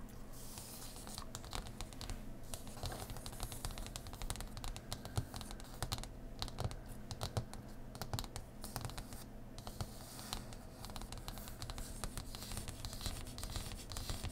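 Long nails tap rapidly on a thick, solid printed cardboard faction board (Eyrie Dynasties) lying flat on a cloth. The result is a stream of quick, dry, clicky taps that die away almost instantly, over a steady low hum.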